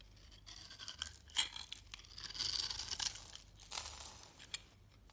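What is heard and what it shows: A steel utility blade shaves small cubes off a solid orange bar of soap held in the hand and scored into a grid, leaving crumbly flakes. Soft, bright scraping and crisp crunching come in uneven bursts, with a few sharper cracks, and almost no low end.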